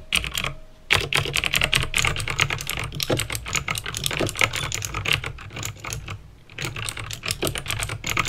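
Fingertips with painted nails type fast on a backlit plastic mechanical keyboard with clicky green switches. A dense, bright stream of sharp clicks and clacks runs over a steady low hum. Brief pauses come near the start and again around six seconds.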